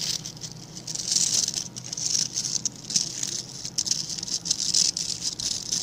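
Fingertips flick and scratch the bristle tips of a hand-sized scrub brush with a blue-green plastic back and grey-black synthetic bristles. The result is a dense, bright, crackly patter of quick scratches that swells and fades in waves, with almost no low end.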